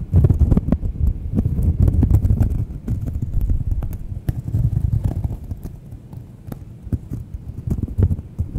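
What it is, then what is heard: Cork coaster scratched and tapped. Long nails scratch and tap the face and edge of a thin, solid round cork coaster held close to the microphones. The result is a dense, irregular run of soft, muffled taps and scrapes, almost entirely low and thuddy, with only faint, brief clicks above. The taps come quickly and unevenly, with little ring after each one.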